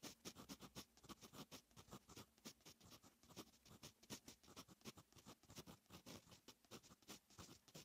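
A fine metal fountain pen nib writes on a lined paper notebook page, making a steady run of quiet, bright scratching strokes. The short, dry strokes come one after another for about eight seconds with little ring.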